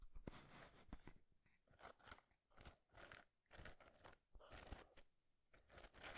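A small, hollow printed cardboard matchbox with a green and red label is held in one hand while the fingertips and nails of the other tap and scratch its surface and edges. Quick, dry crunchy taps and scratchy rasps come in short bursts with brief pauses between them.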